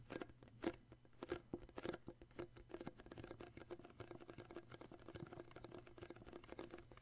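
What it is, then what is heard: Cardboard gift box tapped. Fingertips and short nails tap the printed skier paper lid of a small hollow cardboard gift box with a red base. A few louder, hollow-sounding knocks come first, then settle into a quick, steady patter of soft, dry taps. Each tap dies away almost instantly.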